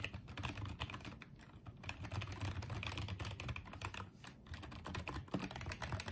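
Fingertips type on and tap the keys of a small pink and white plastic Apeach wireless keyboard. The result is a quick, uneven stream of soft clicky taps with a low, thuddy body and bright, short-lived clicks.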